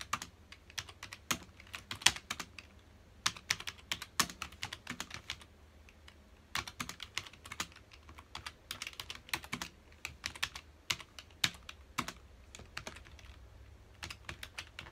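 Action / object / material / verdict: tap / plastic computer keyboard / plastic / none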